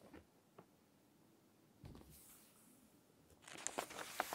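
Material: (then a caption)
Glossy paper. Fingertips rest on an open glossy fashion magazine and rub its page with faint, soft taps and a brief brushing swish. Long nails then lift and turn the thin paper page, giving a brighter crinkling rustle with a few sharp, crisp ticks as it flips.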